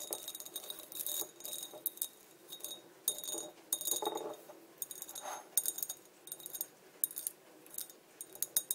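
Long dark nails tap the body of a small, empty, clear embossed Coca-Cola glass bottle held upright. Quick bursts of bright, high clinks come in irregular clusters, each tap dying away almost instantly with no low-end body.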